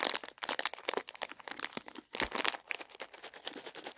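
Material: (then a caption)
Plastic. A small, full plastic bag of milk chocolate raisins is held in both hands while fingers crinkle and squeeze it. Dense, bright crinkling and crackling comes in rapid bursts with brief pauses, mostly in the high range with almost no low end.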